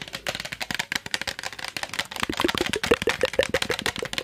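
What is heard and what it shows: Fingernails scratch and tap the body and trigger head of a hand-sized, hollow, yellow translucent plastic trigger spray bottle held close to the mic. The result is a rapid, uneven stream of short, dry clicks and scratches with a bright edge and a hollow mid tone, growing louder and more distinct toward the end.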